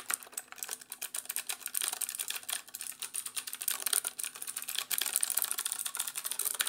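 A compact black plastic mechanical keyboard with orange accent keys is held up in both hands while its keys are pressed and tapped rapidly with fingertips. A fast, dense stream of sharp, bright plastic clicks and clacks rises and falls in bursts with no low-end body. Each keystroke cuts off almost instantly.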